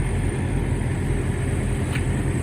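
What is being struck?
Nothing is struck.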